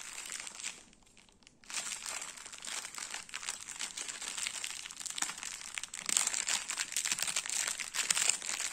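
A full, cylindrical stack of round crackers in clear plastic wrap is held in the hand while fingertips and nails tap and scratch the wrap. The result is dense, bright, irregular crinkling and crackling with almost no low end, broken by a short near-silent pause around the first second. The sound grows louder and busier toward the end.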